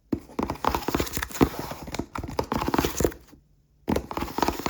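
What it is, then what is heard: Cardboard box. A cardboard cereal box with a barcode is tapped rapidly up close, giving a quick run of dry, hollow knocks with a low body. The tapping pauses briefly near the end, then resumes in another fast burst.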